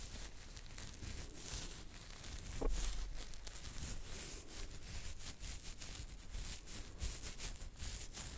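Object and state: Beard hair being scratched.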